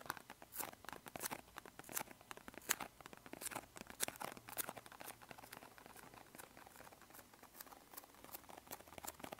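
A small, hollow, green and white printed cardboard medicine box is held in both hands and tapped and scratched with bare fingertips. Quick, dry papery taps and crinkly scratches patter along irregularly, crisp and bright with almost no low end and no ring. A few louder taps stand out early before the sound settles into softer, busier scratching.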